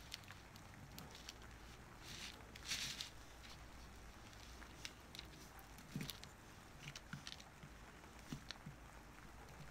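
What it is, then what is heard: Bar of soap being carved. A wooden-handled carving knife scrapes and carves the surface of a solid orange-tan oval bar of soap held flat on paper, with the shavings piling up beside it. Soft, bright scraping and small crisp ticks of the blade cutting into the soap sit over a quiet low background hum, with a longer, brighter scrape swelling near the third second.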